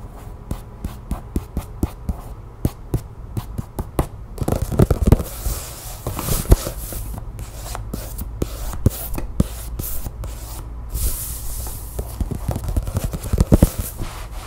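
Long nails quickly tap and scratch the cover of a closed glossy paper magazine lying flat on a table. Crisp, dry taps come one after another for the first few seconds, then give way to a busy, bright scratching hiss with quick taps mixed in. The taps stop dead with almost no ring, over a low, steady undertone.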